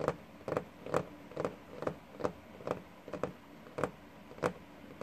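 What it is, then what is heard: Wooden desk top tapped with fingertips. Fingertips and short nails of both hands tap and scratch the worn, paint-flecked varnished top of a large solid wooden desk. A steady series of short, dry, mid-pitched knocks sounds roughly every half second, each dying away almost at once, with faint scratchy noise between them.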